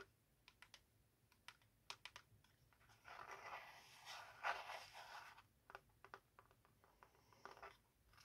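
A small, hollow, square yellow-green printed Hybeads cardboard box is held in both hands and tapped and scratched with long acrylic nails. Quick, light, crisp taps come first, then about two seconds of steady, bright, rasping scratching across the box. More scattered dry taps follow, with roughly twenty short, quiet hits in all.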